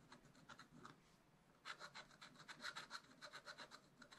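A wooden stylus scratches lines into the black wax coating of a scratch art sheet in a small spiral-bound pad, lying flat and solid on a table while the other hand holds the pad. Short, dry, bright rasping strokes repeat in an uneven rhythm. They are soft and sparse at first, then become louder and quicker after about a second and a half.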